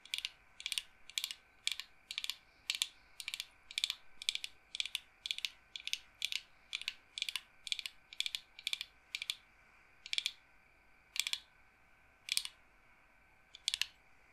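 Fingers rub and roll the wooden beads of a wooden-framed bead roller massager held near the chest. The result is a steady series of short, bright, dry clacking bursts with almost no low end. The bursts come quickly at first, then space out toward the end over a faint steady hum.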